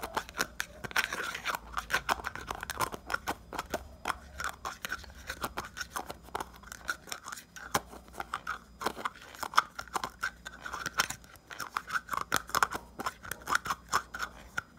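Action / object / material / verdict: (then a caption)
tap / small plastic jar / plastic / none. Fingertips and nails scratch and tap the lid and rim of a small round red plastic pomade jar filled with white pomade, which is opened briefly. Rapid, dense clicks and crisp scratching repeat throughout, with a bright plastic tone around 1.2 kHz and very little low end.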